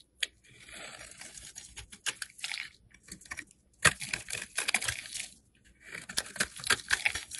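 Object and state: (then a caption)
Soap bar shaved with a blade. A solid beige oval soap bar held in the hand is shaved into flakes with a metal box cutter blade. Crisp, bright scraping and crackling comes in three bursts separated by short silences, with little low-end body.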